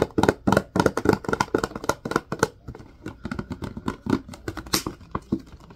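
A large clear plastic Purell hand sanitizer bottle with a white cap, partly full of green gel, is held in the hands and tapped and scratched with the fingertips and nails. Quick, irregular hollow plastic taps with very short decay come in rapid bursts, mixed with light scratchy rustles. The taps are loudest early and grow softer and sparser toward the end.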